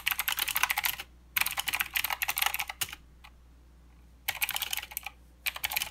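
Both hands type with their fingertips on a mechanical keyboard with plastic keycaps and blue switches. Rapid, bright, clicky keystrokes come in four bursts separated by short silent pauses. Each click is crisp and dry, with almost no low end.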